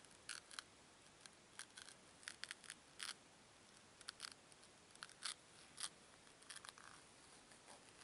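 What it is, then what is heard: Foam cubes rubbed together. Two small, solid white foam cubes are squeezed and rubbed together by fingertips with long nails. The result is a quiet, uneven series of short, bright, crisp squeaks and crackles separated by near-silence. Each burst is dry and quick, with almost no low end.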